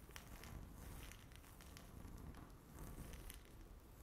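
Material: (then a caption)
Laminate. Long natural fingernails scratch across a solid, flat, speckled granite-look laminate tabletop. The result is a quiet, continuous scratchy crackle with a low rumbling bed and scattered bright ticks from the nails.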